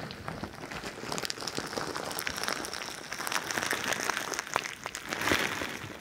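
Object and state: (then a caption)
Bead-filled squishy ball being squeezed and scratched. A crinkly bingsu ball, a stretchy plastic skin filled with plastic beads, is held by one ear of the microphone and squeezed and scratched with long nails. The result is a dense, continuous crackling and rustling of beads with bright, crisp clicks and little low end, swelling and fading in waves.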